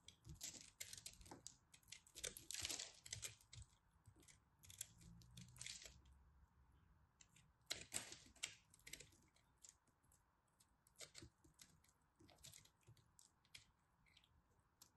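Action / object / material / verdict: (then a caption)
scrape / pressed soap crumb ball / soap / none. A utility knife blade scrapes and carves into a hand-sized solid ball of pressed blue, purple and white soap crumbs, held in fingers with long red nails, shedding crumbs onto a pile of soap shavings. Dense, bright, crisp crackles and scratchy clicks come in uneven bursts, loudest around the third and eighth seconds, with quieter ticking between.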